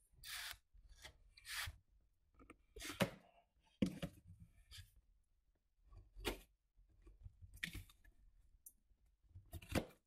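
Long painted nails rub and scratch along the dark packing-tape seam of a large, hollow, closed cardboard shipping box, with scissors briefly used on the tape. Short bursts of bright, dry scratching and rasping alternate with quiet gaps, backed by soft, low, hollow rumbles from the box.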